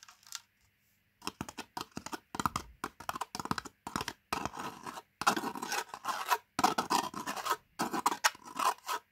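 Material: Plastic, foil.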